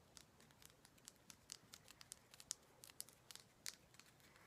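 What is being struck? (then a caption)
Himalayan salt rock. Long black nails scratch and tap a large, solid, orange-pink Himalayan salt rock with a rough, frosted surface. The result is about seventeen quiet, sharp, crackly high-pitched ticks and scrapes, each dying out instantly, with almost no low end.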